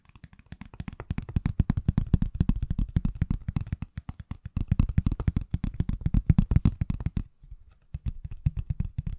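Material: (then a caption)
Silicone. Fingertips and nails tap rapidly on the back of a hand-sized, solid iPhone held sideways in a pale green silicone/plastic case. The dense, uneven run of soft, dull, low-pitched taps dies away almost instantly, with a brief pause near the end before the tapping resumes more quietly.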